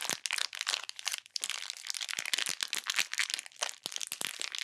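A flat, full, clear plastic bag of purple glittery bead slime is squeezed and pressed with fingertips and long nails over a pink surface. It gives a dense, continuous run of bright crunching and crinkling crackles with no low end, each crackle dying away almost instantly.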